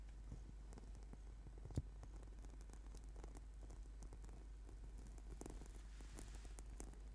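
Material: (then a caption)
Rubber foam. Fingertips and short nails of both hands tap and scratch the surface of a flat, purple, sticky foam yoga mat made of rubber/PVC, lying as a solid sheet on a table. The result is a quiet, continuous stream of soft, dull taps and light scratchy rustles over a steady low hum, with one sharper tap standing out early on.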